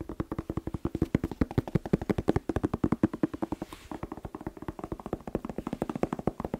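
A bell pepper (paprika) is tapped quickly and continuously, producing dozens of short, dry, hollow knocks with a pitch around 300 Hz and almost no ring. The taps briefly soften near the middle before resuming at a steady, rapid pace.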